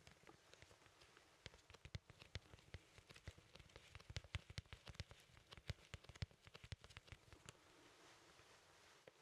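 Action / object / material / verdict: tap / cardboard LP record sleeve / cardboard / none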